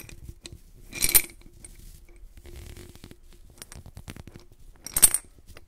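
A white-gloved hand grips the neck of a medium clear glass jar holding blue glass beads, turning it and gently shaking it so the beads shift inside. Two bright bursts of clinking, rattling glass stand out near the start and end, with quieter low shuffling and scattered small clicks between them.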